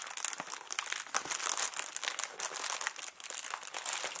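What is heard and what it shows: A small, hollow, air-filled clear plastic packing air pillow with blue print is handled, squeezed and crinkled with fingers. The result is a continuous, bright, dry crinkling and crackling with dense, quick snaps and almost no low end.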